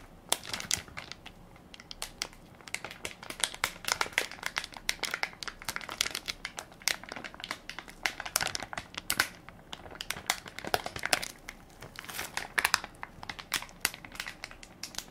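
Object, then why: Plastic film wipes soft pack. Fingertips and nails press and crinkle the crinkly plastic film of a hand-sized Equate baby wipes soft pack, full of wipes and held in one palm. A dense, continuous stream of bright, crisp crackles with sharp short snaps and almost no low end.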